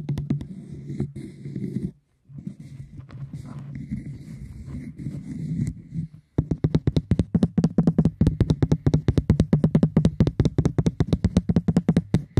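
Fingertips tap on cork, giving dull, low, short thuds with little ring. A quick burst of taps gives way after a brief pause to softer, scratchier tapping, then a short silence. It ends in a steady run of rapid, louder, evenly spaced taps.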